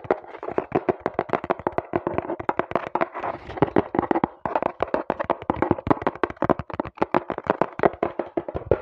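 Fingertips with painted nails tap rapidly on the surface of a small, hollow brown cardboard box held close to the mic, then tap it again while it is held up. The result is a fast, uneven stream of short, dry, hollow knocks centered in the midrange, each dying out almost instantly with no ring.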